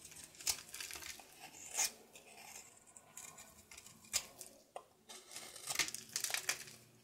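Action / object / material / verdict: scrape / bar of soap shaved with a knife / soap / none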